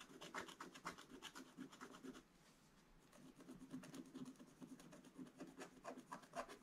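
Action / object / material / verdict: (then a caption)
scrape / scratch-art paper page scraped with a wooden stylus / coated paper / none. A wooden stylus scratches away the black coating of a scratch-art paper page in quick, uneven strokes, producing dry, bright rasping scratches over a soft midrange body. The scratching briefly eases into a quieter rub around the middle before picking back up with sharper strokes.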